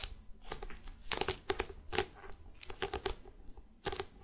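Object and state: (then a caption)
Hardcover notebook tapped and scratched. A closed A5-size bullet journal with a solid, glossy printed hard cardboard cover is held up in the hands and tapped and scratched on its cover with long red-painted nails. The result is a quick series of sharp, dry clicks and raspy scratches with bright, crisp edges and a woody midrange body. Each sound dies away almost at once.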